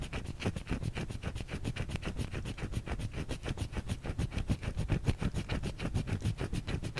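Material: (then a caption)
Soap. Long fingernails scratch and tap an unwrapped white solid bar of soap held in the hand. The result is a rapid, uneven stream of short, dry taps and scratchy strokes, with a dull low thump under a faint bright scrape and no ring after each hit.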